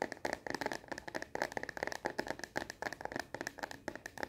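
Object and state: Plastic phone case tapped with nails.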